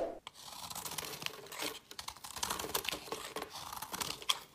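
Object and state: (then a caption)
Layered bar soap being scraped. A metal blade scrapes and cuts along the edge of a multi-layered green, dark and white solid bar soap held in the hand. It makes dry, bright scraping and crisp crackling in a quick run of short bursts, and crumbly chips break off the edge.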